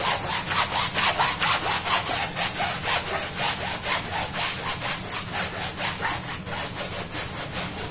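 A small, foamy, dirty woven fabric rug lying on a stone floor is scrubbed vigorously by hand with a hand-held bristle brush. Quick, steady back-and-forth strokes, about two per second, make a bright, rasping swish that pulses evenly and fades slightly toward the end.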